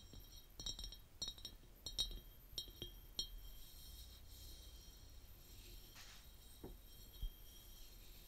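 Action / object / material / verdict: tap / glass jar / glass / none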